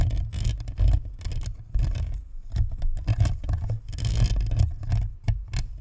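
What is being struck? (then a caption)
Plastic spherical microphone body with metal grille. Long nails tap and scrape the sides and top of a white plastic spherical USB microphone with a metal grille. The result is a dense run of soft, close, low-heavy patters and scratchy brushes, with brief bright clicks riding on a deep rumble.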